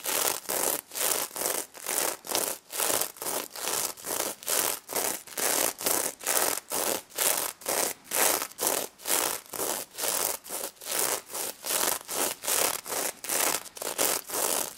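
Long red nails rub and scratch back and forth across the striped gold and red sequin back of a stuffed plush pig toy. Each stroke gives a bright, rasping swish with a rough hiss and almost no low end. The strokes repeat in a steady rhythm of quick, separate bursts throughout.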